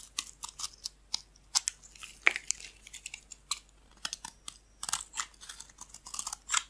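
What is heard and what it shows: A metal blade shaves thin curls from the edge of a solid off-white bar of soap. It makes a rapid, uneven series of short, dry, crisp scraping crunches. The sound is bright and high, with almost no low end and no ring after each stroke.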